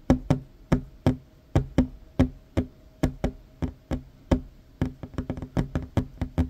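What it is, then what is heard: Wooden tabletop. Hands with short fingernails tap a flat, solid wooden tabletop in 22 quick, dry knocks. Each knock has a low, woody thump with a short ring and a faint tone around 250 Hz. The taps come in an uneven rhythm and grow faster and denser toward the end.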